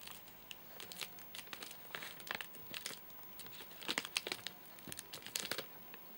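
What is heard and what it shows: Fingertips and short nails tap and scratch a full, flat rectangular Soft Nougat bar in a crinkly plastic wrapper. The result is a quiet run of sharp, bright crinkles and clicks with almost no low end, each dying away at once over a faint steady hiss.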